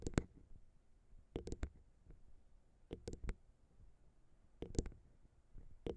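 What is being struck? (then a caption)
Metal microphone capsules. Long pink nails tap all over the tops of the small chrome metal XY microphone capsules on the plastic XY mount of a Zoom H6 recorder. Quick, sharp clicking taps come in short clusters, each with a bright attack over a low, boomy thump, and die away almost instantly. Near-silence fills the gaps between clusters.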